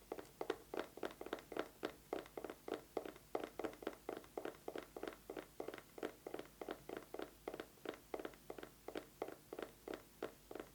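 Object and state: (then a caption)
Eyeglasses case. An eyeglasses case is tapped quickly with fingernails, giving a long run of short, dry clicks with a mid-range tone and almost no ring. The taps come in a steady but slightly uneven rhythm, with no other sounds around them.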